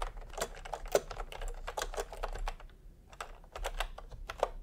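A full-size retro keyboard with a peach plastic case and round typewriter-style plastic keycaps is typed on with fingertips. It gives a quick run of short, bright plastic taps and clacks with very little ring, pausing briefly just after the three-second mark before the typing resumes.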